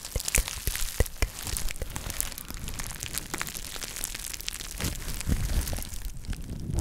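A small, soft, flexible jute (burlap) drawstring pouch is held in both hands close to the microphone and scratched and crumpled with long nails. The result is a continuous, dense crinkling rustle, heavy in low rumble, scattered with sharp, bright scratchy clicks.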